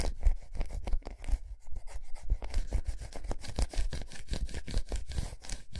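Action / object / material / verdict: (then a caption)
scrape / milk chocolate bar / chocolate / none. Long nails rapidly scratch across the raised squares of a large, unwrapped solid milk chocolate bar resting on a towel. The result is a quick run of dry, rasping strokes, each with a soft low thump underneath and a faint bright edge, fading almost at once.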